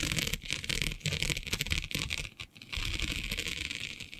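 Long nails scratch across the grid of a flat, black, iridescent plastic diamond mesh sheet. A dense, bright, rattling scratch texture runs almost continuously, with a brief quiet gap about halfway through before the scratching resumes.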